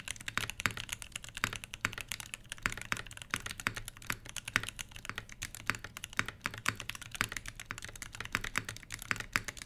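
A full-size HBCP mechanical keyboard with Everglide Crystal Purple switches, plastic keycaps over a brass plate and a solid body sits on a fabric desk mat as both hands type continuously with their fingertips. The result is a steady stream of short, bright, clacky key presses with quick decay, over a faint low hum.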